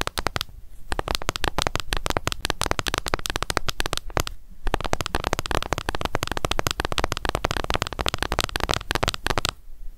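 A closed, small, hollow pink plastic cushion foundation compact is tapped rapidly on its lid by long nails, producing a dense stream of sharp, dry clicks. The taps run almost continuously, with brief pauses near the start, around the four-second mark, and at the end.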